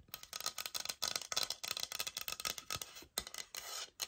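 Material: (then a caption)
Laminate. Long nails scratch and tap the textured face of a thin, solid oak-pattern laminate floor sample board with a white product label on the corner, held up in both hands. The result is a quick run of dry, bright scratching bursts and crisp taps with almost no low end. Each sound stops almost instantly, with no ring.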